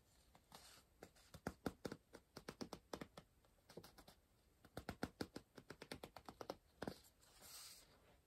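A pencil point scratches and circles words on the paper page of an open softcover puzzle book resting on a pillow, staying on the same spread throughout. Quiet, dry, rapid little scratching strokes come in two bursts separated by a brief pause. The clip ends with a softer, longer swish.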